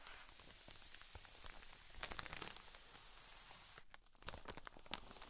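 Long fingernails on both hands scratch and tap across the top of a cotton wool pleat pack sealed in a clear drawstring plastic bag lying flat. A steady, bright, crinkly scratching hiss runs throughout, with sharp plastic taps standing out. The scratching briefly quiets just before the four-second mark, then crisp taps and crinkles resume.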